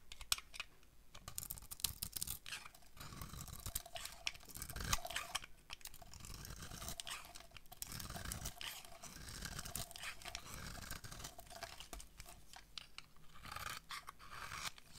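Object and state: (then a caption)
Bar of dry soap being carved. A utility knife blade slices and scrapes shavings off a solid, dry oval bar of soap, red outside and yellow inside, held in the hand. The clip is a quiet, steady run of crisp, dry scraping and shaving strokes with a bright, papery edge and short, dead attacks that don't ring.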